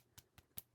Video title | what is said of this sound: Franken Friday: Thinning Polishes With Polish | hear the shaker balls moving in there again, which it wasn't doing before